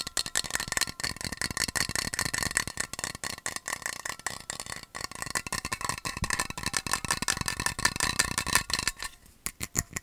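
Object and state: Metal water bottle.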